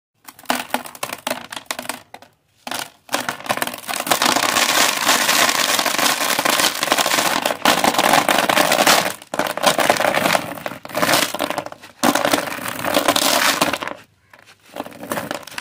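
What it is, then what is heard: Dry crumbled concrete and sand. Bare hands crumble a heap of dry, gritty, reddish-grey crumbled concrete mixed with sand in a red plastic tub, letting the loose granular pieces fall back onto the pile. Dense, dusty crunching and rubbing fills most of the clip with bright gritty texture, broken by a few short pauses.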